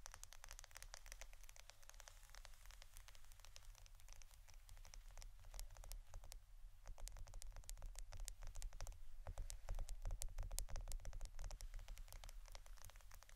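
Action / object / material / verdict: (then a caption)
tap / plastic adhesive tape roll / plastic / none. A roll of plastic adhesive tape is tapped and scratched with rapid, irregular taps. Quiet, sharp, dry clicks and scratchy crackles run throughout, each dying away almost instantly. Underneath sits a steady low hum.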